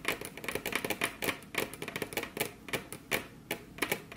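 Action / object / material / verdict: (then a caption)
tap / wooden desk top / wood / none. Very long, curved natural nails on both spread hands tap and trace across a large, solid, flat, dark brown polished wooden desk top (possibly laminate). The result is a quick, irregular series of about twenty sharp, bright clicks, each dying away almost instantly, with faint scratchy tracing between them.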